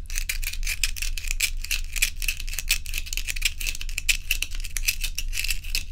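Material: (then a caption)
Ice. Long nails tap and scratch a row of joined solid ice cubes held in both hands, making a quick, uneven run of bright, crisp clicks and scrapes with a faint glassy tone. Each tap dies away almost at once, over a steady low hum.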